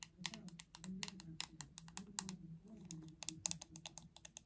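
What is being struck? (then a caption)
Plastic paddle hairbrush. Long acrylic nails tap rapidly on the glossy back of a hot pink hollow plastic paddle hairbrush, producing about 25 quick, bright, dry clicks that stop instantly with no ring. A soft, steady low hum sits beneath the tapping throughout.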